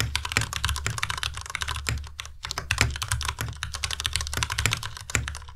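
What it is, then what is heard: Plastic mechanical keyboard. Both hands type continuously with their fingertips on a white compact Ducky Miya Pro mechanical keyboard with plastic keycaps. It makes a rapid, uneven stream of sharp, bright clacks, each backed by a low thock. Every keystroke dies away almost at once.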